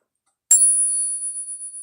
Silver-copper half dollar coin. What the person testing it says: it rings quite well too. These are 89% silver, 11% copper. They have a nice ring to them.